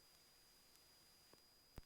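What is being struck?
Nothing is struck.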